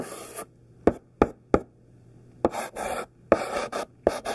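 A thick stick of pink sidewalk chalk, held in the fingertips, is dragged across a black painted chalkboard to write letters. A short dry scratch gives way to three crisp, quick taps, then bursts of gritty scraping strokes mixed with more taps.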